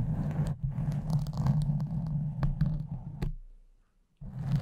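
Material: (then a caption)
Foam. Nails and fingertips of both hands scratch a pink foam windscreen over a condenser microphone. Dense, rough scratching and rustling with a heavy low-end rumble continues, fades to near silence for a moment, then starts again.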